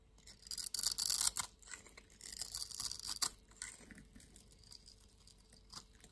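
A solid orange-and-white striped soap bar, held in the palm, is scraped and shaved with a yellow-handled utility knife blade. Bright, hissy scraping strokes come in quick, uneven bursts, loudest in the first three seconds, then fade to softer, sparser scrapes.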